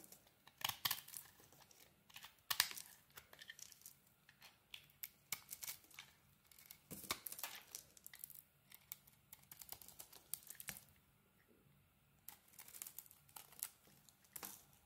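A metal blade carves and scrapes thick yellow curls off a solid, hand-sized block of yellow bar soap held in one hand. Bright, dry, crackly scrapes and crisp cuts come in short clusters separated by quiet pauses, with almost no low end and no ringing after each stroke.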